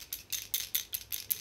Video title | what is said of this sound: Gelnägel - Semilac Produkte - Thermogel - UV Lack - Cat Eye | Da ist auch eine kleine Kugel drin. Hört man.